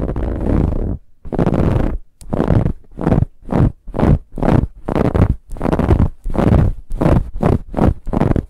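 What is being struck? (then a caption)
Stuffed pillow with ribbed fabric cover. Long nails of both hands scratch a large, soft, stuffed dark brown pillow with a ribbed, textured fabric cover. The result is a rapid series of rough, low rumbling scratch strokes separated by brief pauses, with a steady rhythmic back-and-forth and almost no high-end brightness.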